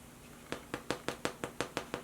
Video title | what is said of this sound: Quarantine Baking Quick & Easy Basic White Bread Recipe - Pan Blanco | I'm going to tap it so you know exactly what it sounds like when it comes out of the oven. It should sound hollow like that.